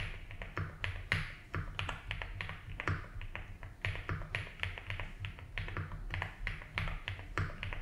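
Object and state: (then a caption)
Plastic mechanical keyboard being typed on. Fingertips slowly type on a 75% mechanical keyboard with ABS keycaps in a light blue plastic case. Sharp, clacky key taps with bright upper ring come in an uneven, steady stream. A constant low hum sits underneath.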